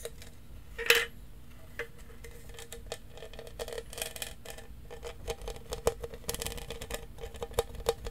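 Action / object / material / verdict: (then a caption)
tap / plastic tumbler / plastic / none. A large, hollow lavender studded plastic tumbler with a lid and straw, its fill not visible, is tapped and scratched with fingertips and nails across its studded surface. Quiet, dry clicks and bright scratchy rasps come in an uneven stream, with a loud sharp tap near the first second and a few stronger taps later. Each hit leaves a faint hollow ring around 470 Hz that fades quickly.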